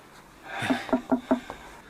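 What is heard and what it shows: Knocking on a wooden wall produces a quick series of short, hollow knocks with a resonant tone around 250 Hz. The wall sounds hollow, indicating a hollow space behind it.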